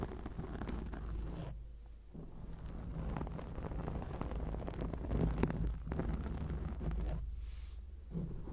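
Long acrylic nail tips scratch across a black foam microphone windscreen, making a dense, low, rumbling scratch with crackly texture. The scratching runs almost continuously, easing into short quieter gaps near 2 and 7.5 seconds before picking back up.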